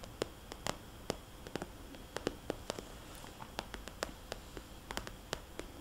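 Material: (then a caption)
Plastic. Fingernails of one hand tap on a small, red polka-dot glossy plastic cosmetics bag, a hollow zippered pouch, producing an irregular series of short, dry, clicky taps. Each tap is crisp and bright with almost no ring, heard over a faint steady hiss.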